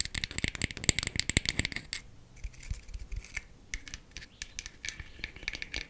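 A wooden makeup compact is tapped quickly with fingernails. A dense flurry of sharp, dry clicks fills the first two seconds, then thins into sparser, lighter taps. Each tap is bright and clicky and stops at once, with no ring.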